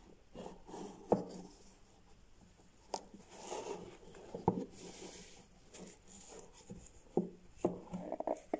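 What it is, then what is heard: Cardboard gift box. Latex-gloved fingertips tap and rub the striped lid and sides of a small, hollow cardboard gift box with a grey base, standing on a wooden desk. Soft, dull taps with a hollow low thump die away almost instantly, separated by quiet, papery rubbing and light scraping.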